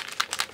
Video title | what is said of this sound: Homemade Airbrush Foundation & Mixing Medium | the ball bearings are doing its thing